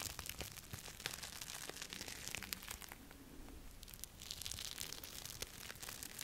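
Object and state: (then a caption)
Sequined fabric glove rubbed on glass. A red plastic-sequin fabric glove on a hand is rubbed and swept across camera glass up close. It makes a continuous bright, crinkling, scratchy texture with many quick ticks, easing slightly in the middle before building again.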